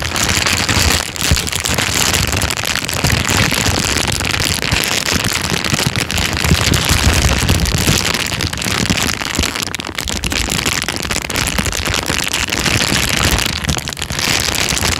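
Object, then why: Thin plastic bag. A thin, empty, transparent plastic bag is crinkled and squeezed with the fingertips. It makes a steady, dense crackling and rustling that is bright and continuous throughout, with a low rumble underneath.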